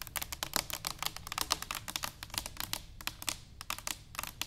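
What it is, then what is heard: Stainless steel canister tapped with fingernails. Long nails tap rapidly on an upright, hollow stainless steel cylinder canister. They make a steady stream of light, bright clicks that die away almost instantly, with a faint low background hum.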